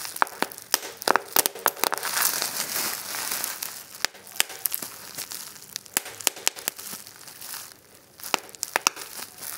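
A fold of clear plastic bubble wrap is squeezed between thumb and fingers, giving a fast, uneven run of sharp, bright pops over a steady crinkling and rustling of the plastic. The pops are short clicks with no ring and almost no low end, and they come in quick bursts with brief quieter gaps of crinkling between them.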